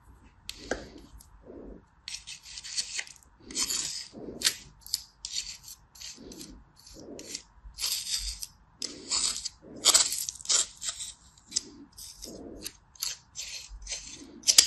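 A small metal knife blade slices and scrapes through a solid block of beige kinetic sand packed in a yellow plastic bear-shaped cookie mold, held over a sand tray, with the blade possibly touching the plastic mold rim. A quick series of short, bright, gritty rasping strokes is heard, each with a soft low thud beneath it and almost no ring.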